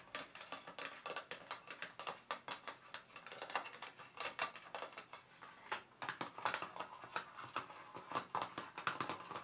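Fingertips and nails from both hands tap rapidly on the lid compartments of a small, closed, hollow black glossy plastic watercolour paint box. The result is a fast, uneven patter of short, dry clicks that stop almost instantly, with no low end and a hollow plastic tone centred around 1.4 kHz.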